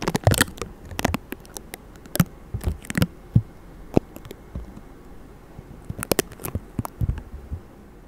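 Fingertips of both hands quickly rub, scratch and tap over the hollow metal mesh grille of a white Blue Yeti microphone covered in vinyl stickers. The result is a buzzy, crackly texture of short, dry taps and scrapes with no ring. The sound is mostly low and thumpy, with bright clicky edges, and it comes in quick bursts separated by quieter gaps.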